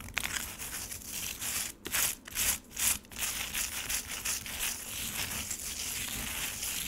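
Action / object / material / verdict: scrape / frozen lemonade slush in a plastic tray / ice / none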